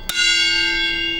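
A single tap on a steel railway carriage wheel during a wheel-tapping test gives a clear bell-like ring, with a steady low tone near 340 Hz and bright overtones around 3.4 kHz that sustain for about a second. The wheel rings true, showing it is sound; before ultrasound and X-ray checks, a change of note on tapping revealed whether a wheel was fractured.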